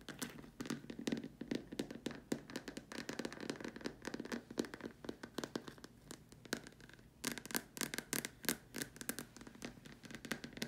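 Long dark nails tap the top and sides of a large hollow white plastic dome lamp shade. The taps come in quick, uneven runs of short, dry clicks with a hollow mid-low body and bright edges, dying away almost instantly. A brief quieter stretch around the seventh second gives way to a denser, sharper burst.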